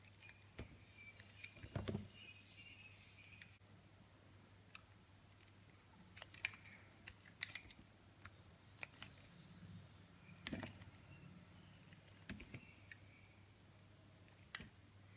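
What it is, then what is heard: Soap bar being shaved with a blade. A utility knife blade shaves and scrapes the surface of a hand-held solid blue soap bar flat. Quiet, sharp, bright clicks and short scraping strokes come in scattered bursts over a steady low hum.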